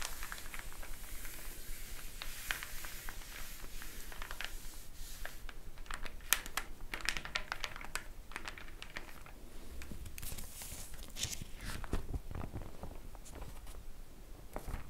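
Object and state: Paper flyer.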